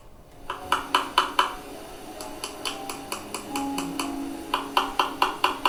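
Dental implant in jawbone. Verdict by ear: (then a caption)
Failed. A dental implant in the jawbone is tapped repeatedly during a check, producing a string of short, bright metallic clicks pitched around 1 kHz that die away almost instantly. The taps come in uneven bursts, some louder and some softer. The sound is off from normal, and the implant proves to have failed because it never integrated with the bone.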